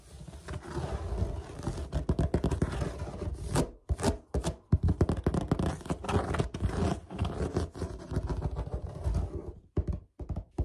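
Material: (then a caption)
Plastic. Short fingernails and fingertips scratch and scurry across a large, flat white plastic lid or panel with an open woven lattice pattern, hollow underneath and possibly a laundry hamper lid, with the hands coming close at times. The result is a dense, rapid run of dry scratches and soft thunks, heavy in the low end with little brightness, broken by a couple of brief pauses.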